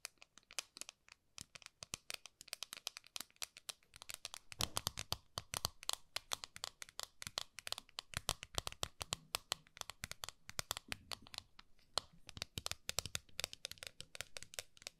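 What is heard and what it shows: Long nails scratch and tap the lid of a flat, round gold metal tin held horizontally. Rapid, dry, bright clicks and scrapes come in quick irregular bursts, with almost no ring after each tap.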